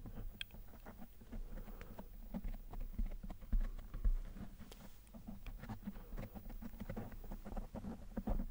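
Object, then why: Foam microphone windscreen. Fingertips of both hands tap, rub and scratch a fist-sized, soft, spongy black foam windscreen over a microphone, close up. The sound is a steady, irregular patter of muffled, deep thumps and soft scratchy rustles, heavy in the low end with little brightness. Each touch dies away almost instantly.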